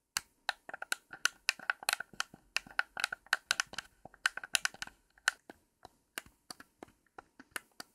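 Long pink acrylic nails tap and click the buttons, D-pad and shoulder triggers of a blue, hand-sized Xbox Series X controller with a hollow plastic shell and thumbsticks. The clicks are short, sharp and bright, coming in quick, uneven bursts that thin out toward the end.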